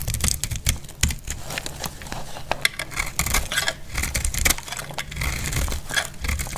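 A metal blade cuts along the edge of a dry, solid red soap bar held in the hand. The result is a rapid series of dry, crisp scraping crackles and sharp clicks that stop almost instantly. A bright layer centered near 2 kHz sits over soft low thumps.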